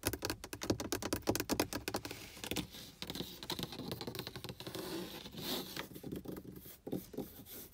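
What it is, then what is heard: Car dashboard plastic panel, tapped and scratched. Long acrylic nails and fingertips tap and scratch the large, hollow, textured dark plastic or vinyl pad of a car's upper dashboard under the windshield. A quick run of sharp, dry clicking taps gives way to softer, continuous scraping and scratching, with a few more scattered taps near the end.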